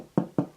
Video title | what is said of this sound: Anyone can make this BREAD!! Simple step by step no knead rustic artisan bread | You'll hear that real nice light tap to it.